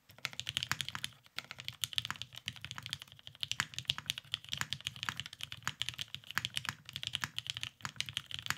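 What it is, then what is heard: Mechanical keyboard with plastic keycaps. A beige tenkeyless mechanical keyboard, a Cerakoted Salamander with lubed Vintage Black switches and plastic keycaps, sits on a desk mat and is typed on continuously with the fingertips of both hands. The result is a steady stream of short, dry, bright clicks and clacks, centered around 3 kHz, with light low thumps underneath and almost no ring after each keystroke.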